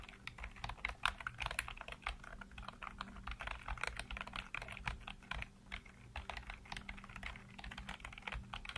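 Fingertips rapidly tap and type on a full-size black plastic computer keyboard with hollow keycaps. The result is a dense, continuous stream of short, dry plastic clicks with bright, crisp tops and almost no ring, over a faint steady low hum.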